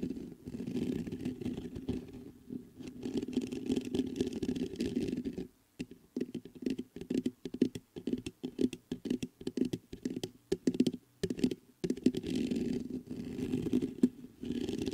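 Fingertips scratch and tap the top of the mesh grille on a black metal USB microphone. A dense, muffled scratching rumble centered around 250 Hz gives way midway to a run of separate dull, close taps with silent gaps between them. The steady scratching then resumes to the end.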